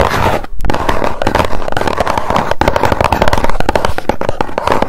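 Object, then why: Small cardboard box. A small, hollow white cardboard box is held in both hands while long nails tap and scratch quickly across its face. The result is a dense, continuous stream of rapid, dry taps with a low, hollow body and short scratchy rasps between them, each tap dying away almost at once.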